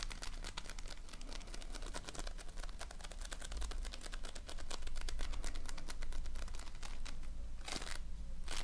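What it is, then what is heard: Floam (foam-bead slime). A flat patty of multicolored floam, polystyrene foam beads in slime, is repeatedly pressed and patted with fingertips and nails. The result is a dense, uneven stream of sharp, dry crackles and snaps over a steady low hum, with a louder, broader crunchy burst near the end.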